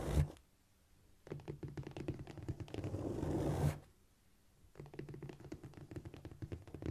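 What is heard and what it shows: Long nails scrape and tap with both hands across a flat, solid cork floor. Brief bursts of quick, scurrying taps and scratches come in three stretches separated by short silences. The sound is dull and low-heavy, with soft clicks that die out almost instantly and no bright ring.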